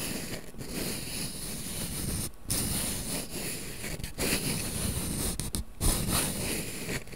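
A small printed cardboard matchbox full of wooden matches is held in both hands while its inner drawer is slid open and closed and rubbed with the fingers. The result is a continuous dry scraping and rustling with a low, grainy body and a few brief gaps where the sliding pauses.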